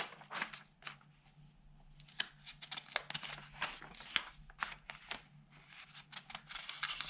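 An open newsprint newspaper is handled as fingertips rub the thin sheets and turn the pages. Quiet, bright crinkling and rustling come in many short bursts over a soft hiss, with a few sharper crackles as pages turn.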